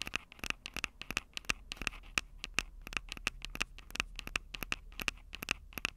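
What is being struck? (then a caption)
Handheld recorder with plastic body and metal-grilled microphone capsules. Long acrylic nails rapidly scratch and tap the metal-grilled microphone capsules of a Tascam DR-05 handheld recorder, a small, hollow plastic-bodied device. Quick, dry, bright clicks and scrapes follow one another without pause, each with a recurring tone near 2.6 kHz and almost no ring. A faint low hum sits underneath.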